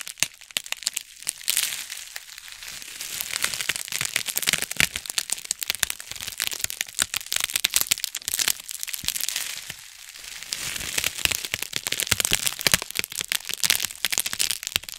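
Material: Plastic.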